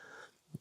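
A single sharp tap on the acrylic face of a Star Wars-themed Labubu plush keychain figure gives a short, bright click. A faint low thump comes just before it, and the click dies away almost at once after a brief stretch of quiet background hum.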